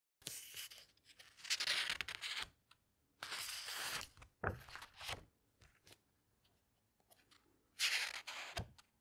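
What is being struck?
Glossy paper pages of a hardcover book.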